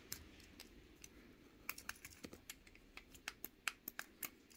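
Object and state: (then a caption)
Plastic fidget cube clicking. Fingertips and nails rapidly click the buttons and switches of a small pink plastic fidget cube held in one hand. The result is a quick, irregular series of sharp, dry, bright clicks with almost no ring, over a faint low background hiss.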